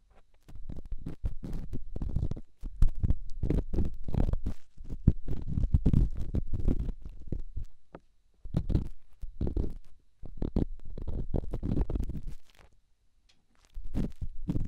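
An elongated, solid, rough rock held in the fingertips is rubbed inside a silicone microphone ear, producing deep, muffled scraping and rumbling bursts. The rubbing comes in sustained stretches broken by brief silent pauses, and the rumble is concentrated in the low range with almost no bright content.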